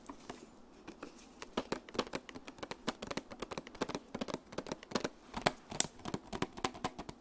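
Long nails tap quickly across the clear plastic lid of a flat, rectangular, hollow makeup blush palette holding pink and peach pans. The result is a rapid, uneven run of dozens of sharp, dry clicks with a bright, hollow plastic tone. Each click stops almost at once.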